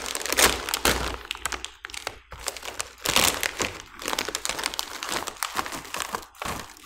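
A small green printed plastic-foil snack bag, hollow and filled with snacks, is held in both hands and crinkled with the fingertips while being pulled open at the top. Dense, bright crackling and crinkling come in bursts with short pauses, along with a few dull thunks.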